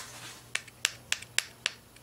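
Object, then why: Beryllium metal window of an X-ray tube. A finger lightly taps the thin beryllium metal window of a Siemens X-ray tube, gently so it won't push through the soft metal. Five sharp, bright clicks stand out, each ringing only briefly, with a few fainter taps between them.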